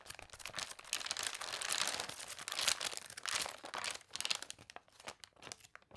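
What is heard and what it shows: Long dark-painted nails and fingertips flip and rub the water-warped, wavy pages of a thick glossy paper toy catalog lying on a table. Dense, bright crinkling and crunching rustles rise and fall in quick, dry bursts with almost no low end. The sound thins into sparser, sharper crackles toward the end.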